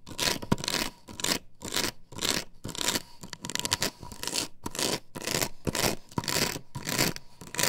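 Long nails scratch across the perforated pattern of an upright plastic stencil template glued to a wooden board. Bursts of dry, bright, raspy scraping repeat at an irregular pace, some fast and harsh and others softer, with short quiet gaps between strokes. A faint steady tone sits underneath throughout.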